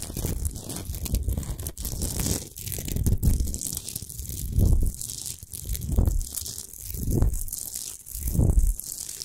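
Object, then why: Rock salt lamp. Long pointed acrylic nails scratch fast across a rough, irregular pinkish-white Himalayan salt lamp, a large solid rock salt lump with its light off, resting on a fur rug. Dry, gritty scraping and crunching rises and falls in repeated strokes, with a deep low rumble under a hiss of bright, high grit.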